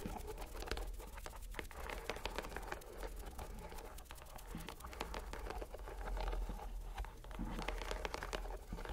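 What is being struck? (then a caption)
Rubber stress ball in a mesh net. A green rubber stress ball inside a white net mesh is squeezed and touched with a fingertip. It gives a steady, dense run of soft, sticky crinkling and tiny crackles, with bright clicks over a low, muffled rumble. The sound swells slightly near the end.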